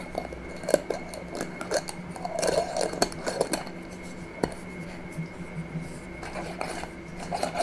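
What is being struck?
Small glass jar with metal screw lid.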